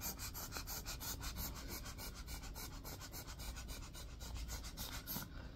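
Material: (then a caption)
Plastic. Fingertips rub and scratch across the blue-tipped bristles of a black plastic round hairbrush. They make a steady, rhythmic run of quick, dry, bristly scratches with a bright, high hiss over a soft low rumble.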